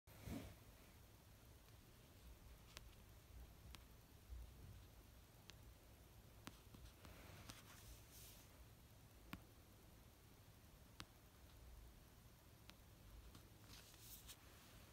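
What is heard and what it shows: An orange paperback novel with a solid paper cover, lying on a fluffy blanket, is tapped slowly on its cover with long dark-painted fingernails and fingertips. Sparse, short, dry clicks with a bright edge stand out over a quiet, steady low hum, with faint soft rustles between the taps.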